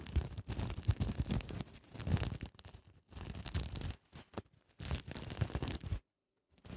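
Fingertips and long nails scratch and rub across a soft pouch covered in flip sequins in a mermaid scale pattern, held upright. The result is bursts of dense, scratchy rustling and crinkling with soft low thumps, broken by short pauses and a brief silence near the end before the rubbing resumes.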